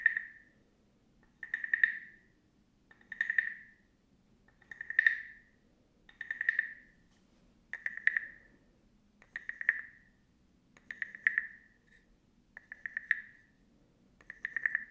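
A small hollow carved wooden frog guiro is scraped with a wooden stick in ten short, evenly spaced strokes. Each stroke gives a rattling, croak-like ratchet centered near 1.8 kHz with bright clicky edges, over a faint low hum. The guiro is first held up and then lowered near the microphone.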